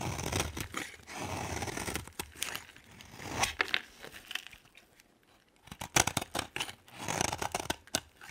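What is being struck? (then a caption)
Bar of soap. A hand-sized solid green bar of soap is cut and scraped into flakes with a utility knife blade. Dry, crackly scraping and crisp cutting strokes come in bursts, with brighter crunchy snaps toward the end and brief quiet gaps between.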